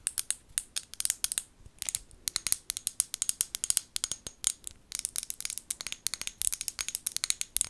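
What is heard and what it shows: Long gold nails tap and scratch a small amber glass bottle with a white plastic lid close to the mic. Many quick, bright clicks and scrapes come in irregular bursts, each dying away almost at once, with hardly any low end beneath them.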